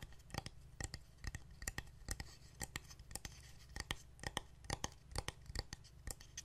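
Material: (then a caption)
Wood. Fingernails tap and scratch along the edge and surface of a painted solid wooden heart plaque decorated with fabric and wooden buttons, held in the hands. Quick, dry, clicky taps come in an uneven rapid patter, each dying away almost instantly, with soft bright scratching between them over a low background hum.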